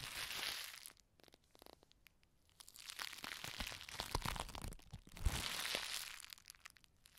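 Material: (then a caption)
Plastic. A palm-sized piece of clear plastic bubble wrap with large air-filled bubbles is squeezed and twisted in both hands, popping and crunching the bubbles. Bright crinkling bursts come in three waves with a quieter stretch of scattered soft pops between them. Sharp low pops punch through the crackle, each stopping almost instantly.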